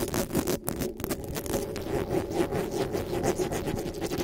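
Long nails and fingertips scratch and rub fast across the hollow metal mesh grille of a black desktop microphone. The result is a dense, continuous scratchy rasp with brief bright flicks over a steady, boomy resonance in the low mids.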